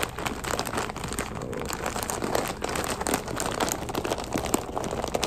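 A medium flexible plastic snack bag with an orange label, full of puffed crispy curls, is held in both hands and squeezed and scratched with fingertips and short nails. It gives a dense, continuous crinkling with many quick crackly bursts at a steady level throughout.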